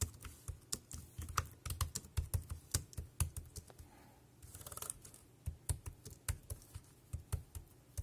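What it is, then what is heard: Plastic keyboard typing. Fingertips type on the round keys of a dark grey plastic wireless keyboard, producing about 29 quick, separate key presses. Each press is a short, dull low thump with a bright click on top that dies away almost instantly. Around the middle, the keystrokes pause briefly for a softer, rustling stretch before the typing resumes at a steady pace.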